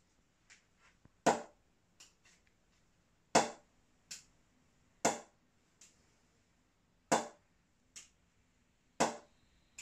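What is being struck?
Willow cricket bat.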